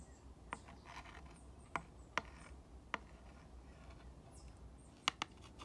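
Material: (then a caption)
Wood. A glass rod tip is traced along the letters and over the slat grooves of a three-slat, green-painted wooden sign. Quiet, soft scratching is broken by six short, bright clicks with almost no ring, where the tip crosses the grooves.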